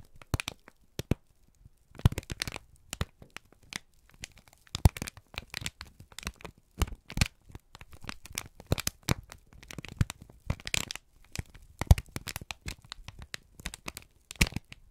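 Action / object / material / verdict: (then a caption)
scrape / kraft paper sheet / paper / none. A wrinkled, crumpled brown kraft paper strip is squeezed and crinkled by both hands, producing a steady run of sharp, dry crackles and snaps. Each crackle is brief and bright, over a soft low rustle, with louder bursts scattered throughout.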